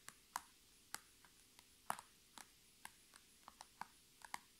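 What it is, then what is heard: Plastic zipper pouch. Long red nails tap and scratch the top of a flat holographic PVC zipper pouch with items inside, lying on a table. A slow, uneven series of short, sharp, bright clicks and ticks rises from a quiet background, each dying away almost instantly.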